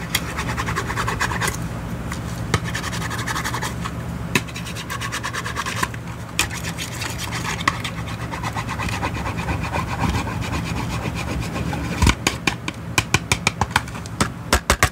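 A thin wooden stick scratches and taps along the front face of a small, hollow, red-and-white printed cardboard product box held in one hand. A steady dry, raspy scratching runs throughout over a low, hollow hum. Short, sharp taps punctuate it, growing more frequent near the end.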